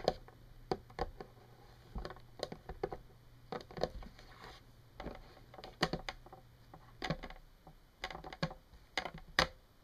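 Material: Plastic.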